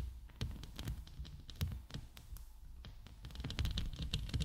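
Long nails scratch and tap the top and sides of a hollow steel mesh microphone head. A rapid, uneven run of short clicks and taps lands on a heavy, muffled low-end thud. Bright scratchy ticks ride above it, growing busier toward the end.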